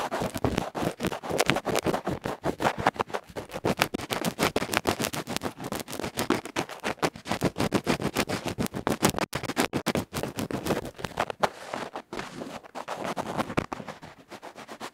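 A bamboo ear pick scratches fast and hard across the black felt face and rim of a small hollow aluminium electret microphone capsule held in the fingertips. The result is dense, rapid, raspy scratching and scraping with a rough, close-up texture, continuing steadily before easing slightly at the end.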